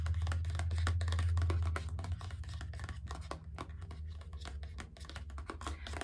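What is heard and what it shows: A small, empty or nearly empty mint-green paper gift bag with a rope handle is held in one hand and tapped and scratched with long red-painted nails. Quick, fairly regular dry taps and papery scratches come at a brisk pace over a steady low hum that is loudest in the first two seconds.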